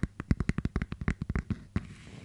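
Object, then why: Small round hollow plastic case. Long, dark-painted fingernails tap and scratch the lid and rim of a small, flat, round, hollow clear plastic case with a paper label, held in both hands. About fifteen quick, dull, low taps come in a rapid run. A last tap gives way to a soft, faint scratching.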